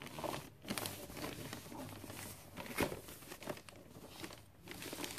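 Fingertips and nails rub and tap across a gift box wrapped in glossy red Christmas paper. There's a steady crinkly rustle with bright, papery scratches, broken by a few sharper taps and crackles that fade quickly.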